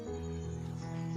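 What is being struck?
Nothing is struck.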